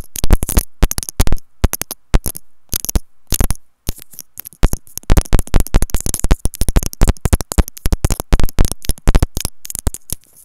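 A small, hollow white plastic inline remote microphone on a wired earphone cable, itself doing the recording, is held between the fingers and tapped and scratched with long manicured nails. Rapid, irregular bursts of close, boomy thumps with a bright crackling edge come in quick clusters, separated by short silent gaps.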